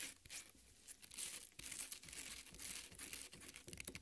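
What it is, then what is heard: Watermelon flesh being scratched. Long nails rub and scratch the juicy red flesh of a half watermelon resting on a plate. The sound is a quiet, bright, wet crackling and rasping that keeps going in uneven bursts, with little low end and almost no ring after each scrape.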